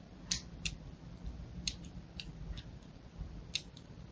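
A thin needle-like blade held in pink-nailed fingers scratches and scores lines into a solid, palm-sized pink-and-white striped bar of soap held in one hand. Seven short, bright, crisp scrapes sound over a steady low hum, each dying away almost at once.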